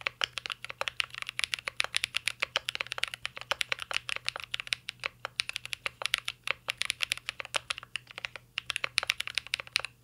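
Fingertips type continuously on a mint-green Cyberboard R3 mechanical keyboard with plastic keycaps and a metal case. The result is a fast, steady stream of crisp, bright clacking key taps, each very short with no ringing.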